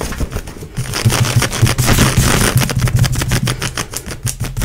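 Long nails and fingertips scratch fast along grey, stretchy nylon-spandex leggings worn on a leg, gripping the fabric between strokes. The result is a rapid, uneven run of raspy, hissing scratches with bright fabric texture over a low, dull rumble.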